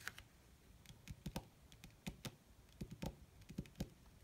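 Long red nail tips tap rapidly on a flat, wrinkled black leather (possibly faux) sheet, with both hands held steady. The result is a quiet, uneven patter of short, dry clicks, each a soft low thud with a bright tick on top that dies away almost instantly.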